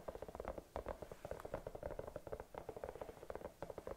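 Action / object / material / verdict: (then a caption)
tap / silicone bunny-shaped night lamp / silicone / none. Long nails tap and scratch across the round body of a hollow, glowing silicone bunny night lamp with a cord. A quick, steady string of soft, dull taps with a mid-pitched hollow tone is mixed with faint scratching, each tap dying away almost at once.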